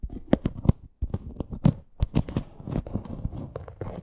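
A small teal faux leather crossbody purse with a stitched parrot appliqué is scratched and tapped with long green nails. Quick dry scratching and crisp taps come in uneven bursts with bright, papery edges and a soft low thud beneath.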